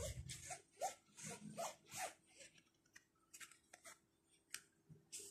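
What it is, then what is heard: Nylon shoulder bag. Fingertips rub and scratch the fabric flap and pocket of a small black nylon crossbody bag with orange trim and zippers, lying flat. Rhythmic bursts of bright, papery scratching swell and fade with a soft low rustle beneath, thinning into quieter strokes and short crisp ticks near the end.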